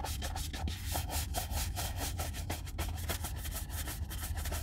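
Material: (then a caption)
Leather. A horsehair shoe brush makes fast brushing strokes over a hollow, brown leather Red Wing Weekender Chukka boot held in one hand. The result is a steady run of quick, dry, bright swishes over a constant low hum.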